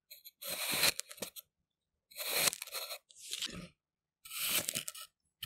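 A thin steel knife blade presses straight down through a solid pink and purple kinetic sand half-disc resting on a white surface, making repeated parallel cuts. Each cut gives a dry, gritty, crunchy tearing burst that is bright and high, with almost no low end, separated by short silences.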